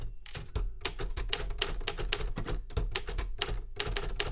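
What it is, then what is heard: Metal manual typewriter. Both hands tap the keys with fingertips in steady typing on a metal Remington Super Riter manual typewriter with a steel body and paper loaded. A run of sharp, bright key clacks, each with a low thump underneath, decays almost instantly between strokes.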